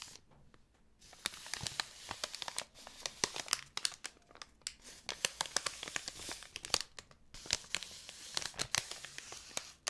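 A long, narrow roll about 25 cm long, wrapped in printed white paper and held upright in one hand, is squeezed, rubbed and scratched by long painted nails. Dense, bright crinkling and tearing-like crackles come in rapid bursts, with quick sharp snaps over a soft rustle and very little low end. The sound is close and dry.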